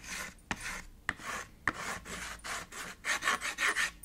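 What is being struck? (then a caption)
Chalk on a slate chalkboard. White chalk scratches, scribbles and shades across a small black chalkboard with a red frame, making a series of bright, raspy strokes. Three sharp ticks stand out early as the chalk strikes the board. The strokes grow louder and quicker toward the end.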